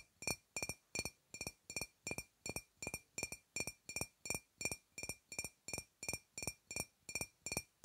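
Long red-painted fingernails tap a dark glass wine bottle with a paper label, sealed and apparently full, held upright in front of a clip-on microphone. A steady series of short, dry clinks follows, each with a bright glassy ring near 2.5 kHz and high sparkle that dies away almost at once.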